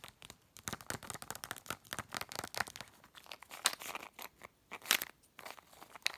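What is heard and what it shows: Long red nails rapidly tap and scratch a small, hollow cylindrical plastic tube of effervescent tablets with a plastic cap, held or lying on a bed. The result is a quick, irregular run of dry, crinkly clicks and scraping rasps. The sound is bright and thin with almost no low end, and each tap dies away instantly.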